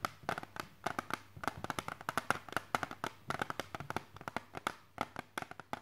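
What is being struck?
Hard plastic CD case.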